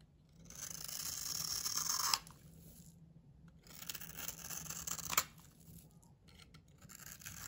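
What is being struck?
Bar soap scraped with a knife blade.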